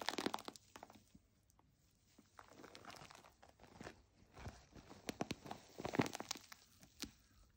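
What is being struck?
Plastic foam bath pillow.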